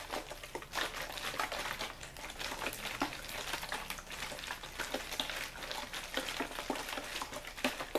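An empty-looking, hollow, clear plastic water bottle is held in the hand and squeezed and crinkled by the fingers. It makes a steady, dense, bright crackling with many sharp snaps layered over a hiss. Each crackle dies away almost instantly.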